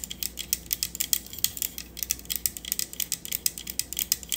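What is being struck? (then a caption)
Metal microphone body. Long acrylic nails tap and scratch the solid-feeling metal body of a black matte cylindrical USB studio microphone with buttons, mounted on a stand. About thirty crisp, bright clicks follow one another in quick succession, each dying away almost instantly, with a light scratchy texture between them. A faint low hum sits underneath.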